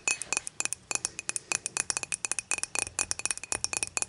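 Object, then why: Glass beer mug. Long matte nails tap rapidly on the top of an empty, clear, dimpled glass beer mug lying on its side. About 26 sharp, bright clinks come in quick succession, each dying away almost instantly, with almost no low end.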